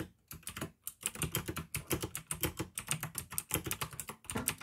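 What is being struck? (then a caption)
Plastic mechanical keyboard. Fingertips type fast on the keycaps of a full-size pink plastic AUKEY mechanical keyboard with RGB backlight, clicky blue switches and a hollow case. A rapid stream of sharp, bright clicks rides over a hollow low thud, broken by a few brief pauses, with each keystroke dying away almost instantly.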